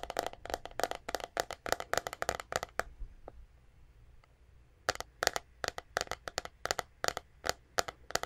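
A white plastic paddle hairbrush with a hollow back, held in both hands, is tapped and scratched with long nails close to the microphone. Quick, dry, broadband clicks come in rapid bursts, with a pause of near silence in the middle before the tapping resumes. The clicks are sharp, bright and hollow-sounding, with almost no ring.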